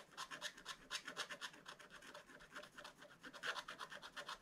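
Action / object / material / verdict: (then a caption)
scrape / wax-coated scratch-art paper scratched with a wooden stick / coated paper / none. A pointed wooden stick held in the fingers scratches the black wax-coated page of a spiral-bound scratch-art book lying flat, scraping off the coating in strokes. The result is a quiet run of dry, bright, rasping scrapes that come in quick uneven bursts with no low end.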